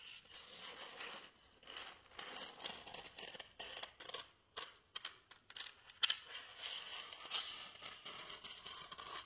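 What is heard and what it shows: A small, white, solid styrofoam block is held in both hands and scratched and rubbed with fingernails. Dry, bright scratching and squeaky friction come in quick uneven bursts with short pauses, with almost no low end. Each stroke stops dead with no ring.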